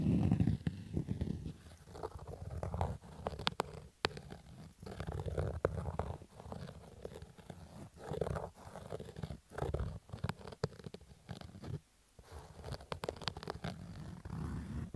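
A fingertip and nail scratch lightly near the lower edge of a black cotton baseball cap's stitched fabric crown. The result is a steady run of soft, muffled scratching and rubbing strokes with a low, rumbling body, separated by brief quiet gaps.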